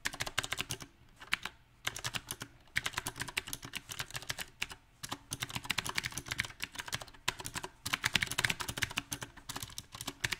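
Fast fingertip typing on a compact backlit mechanical keyboard with round plastic typewriter-style keycaps. Dense bright clicks and clacks run in uneven bursts, broken by a few short pauses.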